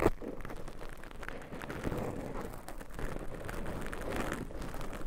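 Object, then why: Foam microphone windscreen. Very long pointed nails of both hands scratch and rub two small, soft, porous black foam covers on pencil microphones. The result is a continuous low, muffled rustling and scraping with a faint brighter crackle on top. A slightly sharper hit sounds at the very start.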